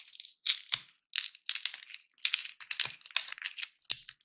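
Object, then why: Dry peanut in shell. Dry peanuts in their shells are held in both hands and cracked open one at a time with the fingers. Sharp, bright crack sounds mix with crinkly, crunching rustles of breaking shell, coming in quick bursts separated by short pauses.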